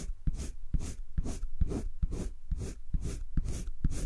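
A green colored pencil makes dense shading strokes over thick cream drawing paper in a spiral sketchbook. Steady, rhythmic back-and-forth scratching repeats about twice a second, each stroke a soft, airy hiss with a dull low thud where the pencil presses and turns.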